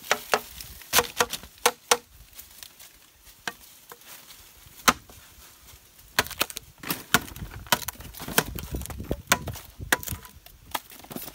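A metal machete blade repeatedly strikes and chops the wall of a large, living, hollow green bamboo culm standing upright. The result is a series of sharp, bright, woody knocks with very short ring, quick bursts and scattered single hits. The chopping continues until a small rectangular hole is cut open in the culm.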